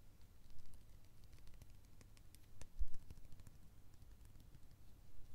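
A small cream-colored plastic squeeze tube of hand cream is held in the hands and tapped and clicked with the fingernails. Quiet, irregular light clicks and taps patter along with very short, dry decay over a low rumble, with a couple of slightly louder knocks.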